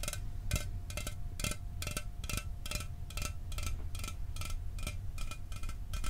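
An apparently unopened, standard aluminum Mountain Dew can is held near the microphone and tapped with fingertips and nails. A steady stream of short, bright metallic clicks and ticks with almost no ring sits over a constant low rumble.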